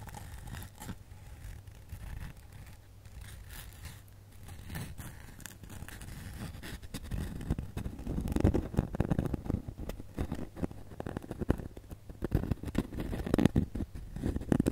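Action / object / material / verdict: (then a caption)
scrape / glitter-covered foam snowman ornament / foam / none. Fingertips and long nails scratch and tap the glitter surface of a solid glitter foam snowman ornament held near the camera. The result is a dense, dry, low-heavy rustling scrape with quick taps that stays soft for the first half, then grows louder and busier from about 7 seconds on.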